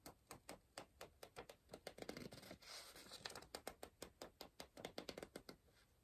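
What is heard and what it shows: A pencil scratches across the page of an open softcover paper word-search book and circles words. The result is a quiet, steady run of short, dry, bright scratching strokes, with a denser, continuous scribble in the middle of the clip.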